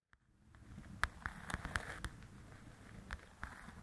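Long pointed acrylic nails tap and scratch across the paper cover of a large, flat paperback coloring book, Belles and Blossoms, lying on a table. Sharp, dry clicks stand out over a soft, continuous papery scratching.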